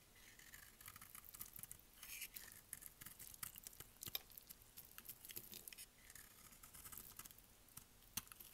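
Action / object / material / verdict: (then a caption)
scrape / bar soap shaved with a utility blade / soap / none. A utility blade shaves and scrapes curls off the surface of a hand-sized, solid, oval pink dry bar soap held in the hand. The sound is a quiet, steady run of dry, crisp, high scratching strokes with short, sharp crackles and almost no ring. Curls of soap come away from the bar.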